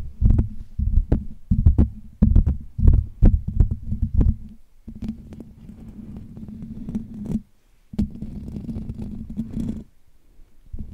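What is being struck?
Metal wire-mesh microphone grille.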